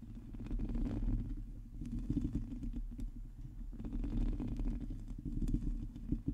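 Long teal nails on both hands scratch across a hollow metal mesh microphone head. The result is a dense, low, rumbling scrape, thick with quick crackling ticks that swell and ease in waves.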